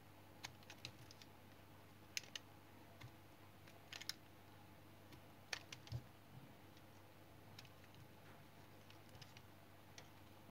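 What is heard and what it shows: A blue-handled knife shaves thin layers off the face of a palm-sized, solid, light brown household soap bar held in the hand, scrape-cutting it. The clip is quiet, with a series of short, crisp, bright scraping ticks that die away almost instantly, spread irregularly over a steady low hum.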